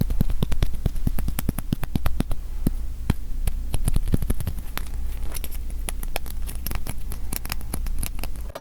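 Fingers tap repeatedly on a freshly unwrapped mini acrylic standee, a thick slab about a third of an inch, UV-printed, which feels well made. Many short, dry clicks with very little ring sit over a steady low hum throughout the clip.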